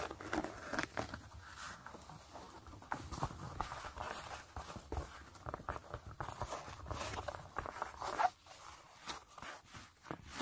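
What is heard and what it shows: Long nails and fingertips scratch the gray mesh knit upper of a fabric sneaker. The result is a steady, quiet run of dry, brushy scratching with quick, close-together strokes. Short, bright rasps rise and fall over a soft, papery texture.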